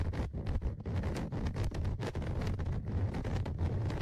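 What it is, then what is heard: Recorder microphone grille scratched with tweezers. Tweezers scratch along the left side of the metal-mesh microphone grille on the plastic body of a Tascam DR-100mkIII recorder. The result is a continuous, low, rumbly contact noise centered around 94 Hz, with rapid scraping strokes that flicker in brightness throughout.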